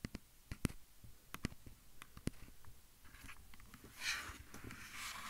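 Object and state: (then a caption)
Plastic audio recorder tapped and scratched. Fingertips and nails tap and scratch rapidly on the top and sides of a hand-sized, hollow-bodied black plastic handheld field recorder, the microphone itself. Sharp, dry, close-up clicks with a low, hollow thump are heard, followed by bright, hissy scratching toward the end.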